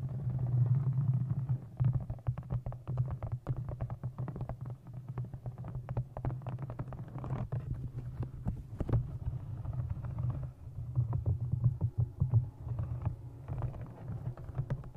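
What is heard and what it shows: Long nails tap and scratch the cover of a thick brown embossed leather journal with a blue stone, held in front of a microphone. Dense, rapid taps land as deep, boomy thumps with a steady low resonance, mixed with short dry scratches, and the level swells and dips throughout.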